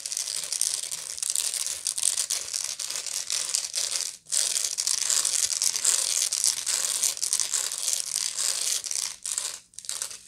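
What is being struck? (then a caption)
Woven straw bag. Long nails scratch the coiled woven bottom of a medium, hollow woven straw bag. The result is a dense, bright, dry rasping and crackling, almost entirely high in pitch with no low end. It runs nearly continuously, with brief pauses around 4 and 9.5 seconds.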